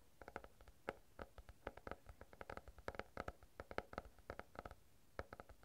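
A small stack of paper banknotes, held in both hands right in front of a furry microphone, is crinkled and rubbed with the fingertips. Many quick, dry crackles and rustles come in an irregular patter, each one short and soft against a quiet background.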